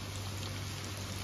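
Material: Nothing is struck.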